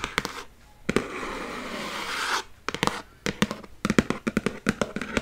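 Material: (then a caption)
Cardboard. A medium-sized Cheerios cardboard cereal box, hollow and apparently holding cereal, is held in one hand while the other hand taps and scratches its front face with long nails and fingertips. A few crisp taps lead into a long, hissing scratch across the cardboard lasting over a second. A quick run of sharp, hollow taps with a low, papery knock follows.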